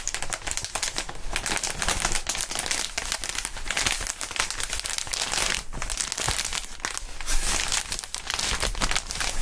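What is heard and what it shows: Gloved hands bend and crinkle a clear, inflated plastic air column cushion wrap. A dense, continuous crinkling and crackling fills the clip, bright and broadband, with a low rumble underneath and no pauses, holding at a steady level throughout.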